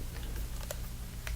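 Light taps on a reflective 212 VIP aftershave bottle that looks metallic but is actually very plasticky and dirty. The clicks are short and dry with almost no ring over a steady low hum, and they sound like plastic rather than metal.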